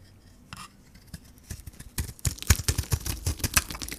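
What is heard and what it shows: A solid Camay soap bar with a gold coating and a pink core is held in the hand while a metal blade shaves off the coating and the soap. A few quiet, scattered scrapes give way after about two seconds to a quick, irregular run of crisp, dry shaving strokes. Each stroke has a dull low thud and bright crackling texture.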